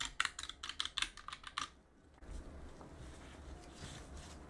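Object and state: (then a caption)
Mechanical keyboard with plastic keycaps. A gloved hand works a cotton swab between the keys of a backlit mechanical keyboard with plastic keycaps, then presses the keycaps with its fingers. About ten quick, bright, clacky key clicks come in the first couple of seconds. They give way to a quiet, steady low rustle and rub.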